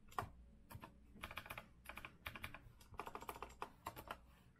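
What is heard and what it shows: Fingertips type with both hands on the round backlit keycaps of a rose-gold metal-frame retro Azio mechanical keyboard resting on a wooden desk. Bursts of sharp, clacky keystrokes come in quick runs with brief pauses, each short click centered around 1 kHz with a bright edge and a soft low thud beneath.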